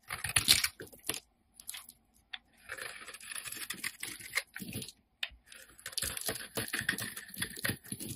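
A utility knife blade shaves flakes off the surface of a solid peach-orange Lux bar of soap held in hand. Quick, crisp scraping strokes come in bright, dry bursts with short silent gaps between them, with almost no low end.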